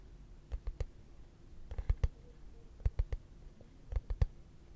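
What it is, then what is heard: Frosted plastic case. A hollow, translucent frosted plastic case held flat is tapped with fingertips and short nails, giving thirteen soft, dull, low taps in small clusters of three or four. Each tap dies away almost at once over a quiet, faintly humming background.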